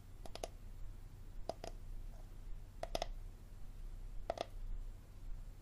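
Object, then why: Plastic water bottle. Fingernails tap and click on the ribbed bottom end of an empty, hollow, clear plastic water bottle with a label, held sideways. Short clusters of two or three quick, dry clicks, each with a hollow mid-pitched tone, repeat at intervals over a steady low hum. Every click stops at once with no ring.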